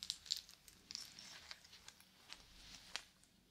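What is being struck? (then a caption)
Wristwatch with wooden link band and metal case. A wristwatch with a wooden link band, a dark metal case and a wooden medallion is held close while its case and band are tapped and scratched with yellow plastic fingertip claws and its links are clicked. The result is quiet, bright, dry taps and sharp clicks with almost no ring, over a soft crinkly scratching that sits almost entirely in the high range.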